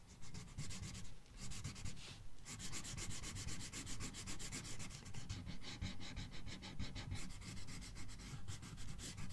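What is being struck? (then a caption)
Marker tip on a thin paper page. A red marker tip rubs back and forth across a thin paper coloring book page in steady coloring strokes. The sound is a continuous, fairly regular scratchy rasp with bright, closely spaced streaks over a low rumbling undertone.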